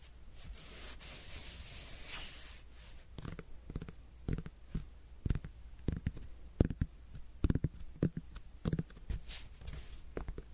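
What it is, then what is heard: Netted melon. A whole, solid netted melon is tapped and scratched on its rind with fingertips and nails. The first few seconds carry a soft, bright scratchy rasp, followed by a run of short, dull, low knocks that die away almost instantly.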